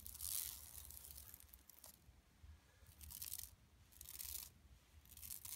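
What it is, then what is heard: Woven plastic mesh bag being scratched. Long nails scratch the lower edge of a flat, empty yellow woven plastic mesh tote bag lying on carpet; the hands are briefly out of frame at the start. Bright, raspy scratching comes in repeated bursts of strokes, separated by quieter stretches, over a faint low rumble.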